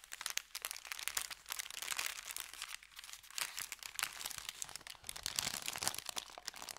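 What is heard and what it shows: Fingertips rub and tap an empty, folded, thin kraft paper bakery bag resting on felt. Dense, bright crinkling and crackling continues throughout, made of many quick, sharp rustles with almost no low end. The level stays fairly quiet and rises and falls in waves.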